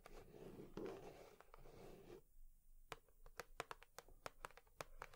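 Long nails work over a cardboard tissue box, first with about two seconds of soft, continuous scratching and rustling. This gives way to a run of sharp, dry, bright taps on the box, each clicking off quickly against a quiet background.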